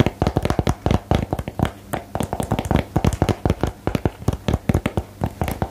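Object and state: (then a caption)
Cardboard game box tapped with fingernails. A small, hollow, lidded printed cardboard box for the card game "Geheimakte" is held in the hands and tapped on its surface with fingernails. A rapid, uneven series of dry, short taps gives hollow, low-heavy knocks around 125 Hz with crisp clicky attacks that die away almost at once.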